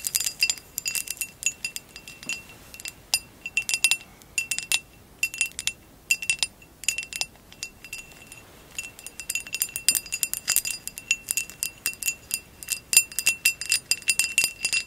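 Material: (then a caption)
Glass. Long acrylic nails tap on top of a hollow amber glass vase with a woven relief pattern, lying on blue fur. Many quick, bright clicks and clinks come in irregular bursts, each dying away almost at once over a faint ring near 2.7 kHz, with no low end.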